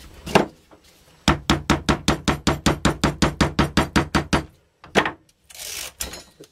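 A roughly 7-inch spherical firework ball shell, made of brown paper or cardboard hemispheres joined with tape and likely filled, rests on a white work table while one hand steadies it and the other repeatedly knocks the top with what looks like a wooden mallet. After an initial knock, a steady, rapid run of short, dull thuds with a low, hollow body follows. A few scattered knocks and a brief bright hiss close the clip.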